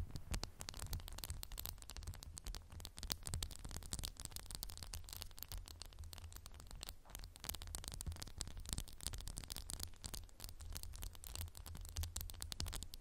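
A candle in a textured glass jar is tapped rapidly and continuously with fingernails for about 13 seconds. The taps are quick, dry, bright clicks that stop almost instantly, with a steady low rumble underneath and a quiet overall level.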